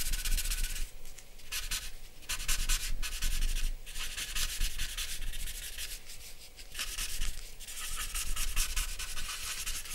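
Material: Paper.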